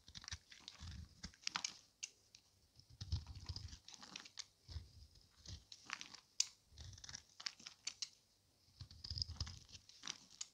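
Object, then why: Bar of soap scraped with a knife. A solid orange Camay bar of dry soap, hand-sized and held in one palm, is scraped and shaved with a small metal knife blade, sending flakes onto the table. Short, dry, bright scraping and crunching strokes come in quick bursts with soft low thumps beneath and brief quiet gaps between. Each stroke stops instantly with no ring.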